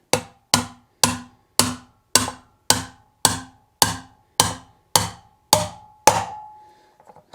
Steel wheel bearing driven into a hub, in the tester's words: hear that sound it's different now